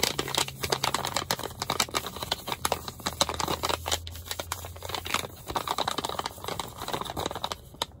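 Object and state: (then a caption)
Foil face mask sachet. A small, thin, filled Yes To face mask packet made of flat foil and plastic laminate is crinkled and tapped by fingers. Dense, bright crinkling is broken by many short, sharp taps that die away almost instantly, with a faint low hum underneath.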